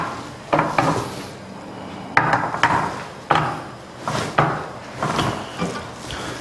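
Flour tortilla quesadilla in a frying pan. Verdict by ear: Crisp.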